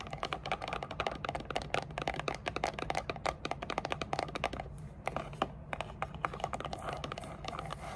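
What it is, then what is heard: Cardboard gift box tapped and scratched with nails. Long dark nails tap and scratch the sides of a small, hollow, grey textured rigid cardboard gift box with a lid. Quick, dry, clicky taps fall in rapid clusters over a soft scratching texture and a faint steady low hum, with a brief sparser stretch near the middle before the dense tapping resumes.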